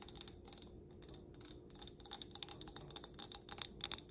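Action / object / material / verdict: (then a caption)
tap / wax-filled stemmed glass candle holder / glass / none. Long black nails tap the bowl and stem of a clear stemmed glass candle holder filled with solid pink wax. A quick series of bright, high clicks sounds over a quiet hiss, each dying away almost instantly with no lingering ring. The taps grow louder and denser in the second half.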